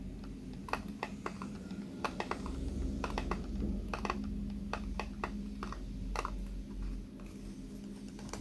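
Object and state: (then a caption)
Plastic hairbrush bristles. Fingertips strum and scratch the white pin bristles of a small pink plastic hairbrush held in the hand as the brush is turned. The result is a run of sharp, irregular clicks and ticks that sound much like typing on a keyboard, layered over a steady low hum around 210 Hz.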